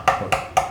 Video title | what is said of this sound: 肉厚なのに歯切れの良い食感と甘みの「針イカ」【寿司、造り、墨煮】 | es muy duro. Puedes escuchar el sonido de algo duro golpeando algo más.